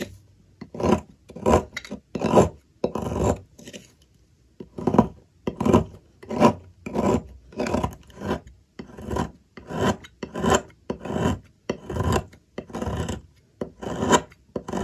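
A metal blade scrapes down through the end of a solid white soap bar, already half shaved away, on a table, peeling off shavings. Short, raspy scraping strokes repeat at an uneven pace, each with a soft, mid-pitched grainy rasp and a bright edge, with a brief pause near the start.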